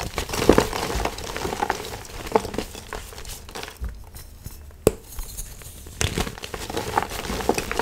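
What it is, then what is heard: Gym chalk blocks crushed by hand. Solid white and pastel-painted gym chalk blocks (magnesium carbonate), shaped as hearts and other shapes, are crushed and crumbled by bare hands with fingertips and palms inside a plastic bin. The result is a steady, dry, crunchy crumbling with gritty crackles and sharp snaps, a brief quieter stretch near the middle broken by one crisp crack.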